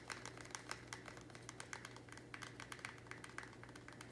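A small, thin, square black plastic nursery pot, apparently empty and hollow, is held in the hands and tapped and scratched fast with fingernails. A rapid run of short, dry, bright clicks with faint scratching plays over a steady low hum.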